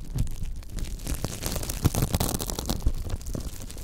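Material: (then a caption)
Silicone. Fingertips scratch and brush across the bristle ridge of a thin, flexible pink silicone scrubber pad. The sound is a continuous rustling, crackling scratch with a low, rumbly body, punctuated by soft thumps and brief brighter swishes.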